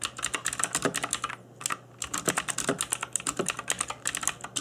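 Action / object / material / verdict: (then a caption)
tap / plastic mechanical keyboard / plastic / none. Fingertips in black nitrile gloves type on a cheap RGB-backlit mechanical keyboard with plastic keycaps. Around thirty quick, bright, clacky key taps sound, each dying away almost instantly, with a brief pause about a third of the way through.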